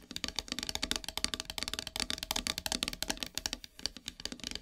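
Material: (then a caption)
Wood. Long silver nails tap rapidly on a flat, solid, black painted wooden heart plaque, producing a steady run of about thirty short, bright clicks. Each tap is dry and dies away almost instantly, with a high, crisp edge and very little low-end body.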